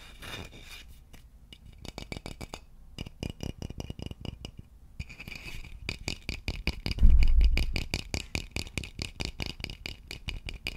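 A hollow, polished wooden vase is held in both hands and tapped and scratched along its body with fingertips and nails. Quick, irregular taps and scratches come in dense runs with soft, dull, low knocks and faint bright scraping. A louder, fuller thump lands about seven seconds in.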